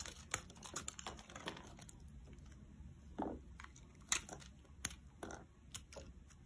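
A metal blade slices soft curls off a solid, rounded, bright-green bar of soap held in the palm. The cuts come as a run of short, crisp, bright scraping and crackling strokes. A low, steady hum sits underneath them.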